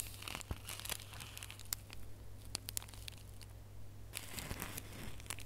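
Bare fingernails scratch and crinkle a small red holographic foil gift box ornament held close by, making quiet, bright, papery crinkles and crackles with sharp little snaps throughout. A steady low hum runs underneath.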